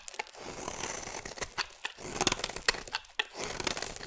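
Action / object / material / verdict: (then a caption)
scrape / bar of soap cut with a metal blade / soap / none. A metal blade carves curls and chunks from the side of a solid oval blue bar of soap. The sound is a dry, bright, crinkly scraping broken by sharp little cracks and clicks as pieces break away, with almost no low end.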